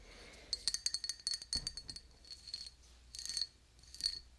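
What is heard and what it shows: A small, clear, patterned glass drinking cup, hollow and empty, is held in one hand and tapped with long dark-painted nails. A quick run of bright, high clinks is followed by a few sparser taps and short rattling clusters. Each tap gives a thin, glassy ring that dies away almost at once.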